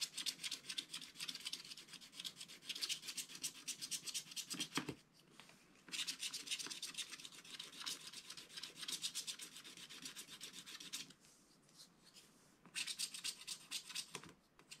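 Fingertips rub the coating off a flat black-coated scratch art card, leaving loose black crumbs on the card. Quick, bright, papery rubbing and scratching strokes come in three bursts, with short quieter pauses between them.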